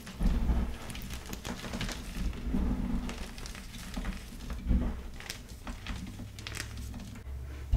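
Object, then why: Pressed gym chalk block. A light blue block of pasted gym chalk (magnesium carbonate) sits in a pile of chalk powder, with a larger glittery block behind it, as both hands press down with fingertips and thumbs to crush and crumble it. The result is a continuous soft, muffled crunching and crackling, heavy in low rumble, with brief brighter crumbly bursts as pieces give way.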